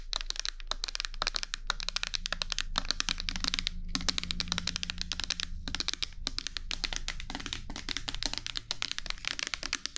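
A medium clear plastic micellar water bottle with a pink cap, partly filled with liquid, is held in both hands close to a binaural microphone and tapped with long nails. Rapid, bright, crackly clicks sound continuously and almost without pause, with a faint low hum underneath.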